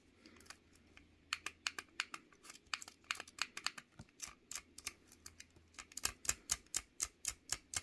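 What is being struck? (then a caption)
Small plastic fidget cube. A small pink solid plastic fidget cube is held in one hand while fingertips and a thumbnail press and flick its clicking buttons and switches. About thirty sharp, bright, dry clicks follow one another, scattered at first and then in a quicker, steadier run near the end. A faint low hum sits underneath.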